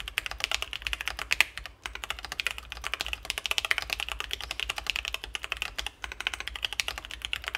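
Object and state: Mechanical keyboard with acrylic case and plastic keycaps.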